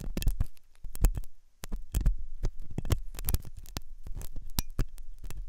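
A steel dental tool, sometimes double-ended, scratches inside the ear canal of the solid, soft white silicone ear on a binaural microphone. It produces a rapid series of deep, muffled thumps and scrapes with a low hum underneath, broken by brief bright clicks and a short quieter pause.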